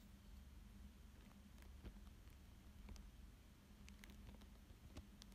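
A thin dark pointed stick traces and scratches across a thin clear plastic sheet laid over a coloured paper drawing. Soft crinkles and light, patter-like scratchy ticks with brief bright edges sit over a steady low hum. The sound stays quiet and even throughout.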